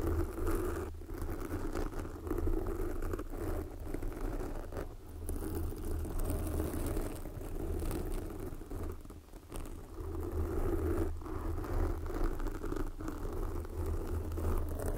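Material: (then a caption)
Foam. Long glossy black fingernails on both hands scratch and tap a soft, porous red foam windscreen covering a microphone. The result is a dense, continuous muffled scratching and crackling, heavy in low rumble with a warm midrange texture and almost no high content. It holds a steady level throughout, with brief dips between strokes.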